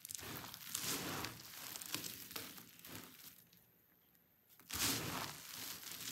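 Both hands press, rub and pinch a mound of crushed dry pink soap shavings between fingertips and thumbs, making the flakes crunch and crumble. The result is a dense, bright crackling and crinkling with a quiet lull just before four seconds, then a sudden louder burst of crunching.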